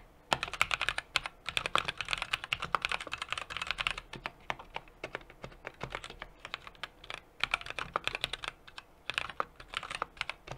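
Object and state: Mechanical keyboard being typed on.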